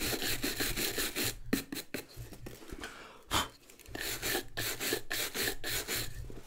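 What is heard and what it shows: A wooden-backed bristle brush scrubs the rubber sole and leather upper of a hollow, empty brown leather boot in quick back-and-forth strokes. The bright, scratchy hiss comes in rhythmic bursts, pauses briefly near the middle with a sharper scrape, then resumes at a steady pace.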